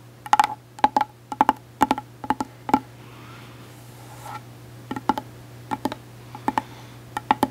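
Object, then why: Small hard-shell case with glitter coating. Long acrylic nails tap a small, hollow, closed hard-shell case with a gold glitter coating, likely a glasses case, held close to the mic. Quick, dry clicks land singly and in small bunches, each with a hollow knock near 860 Hz that dies almost instantly. A steady low hum runs underneath, and a quiet stretch with faint rustling falls in the middle.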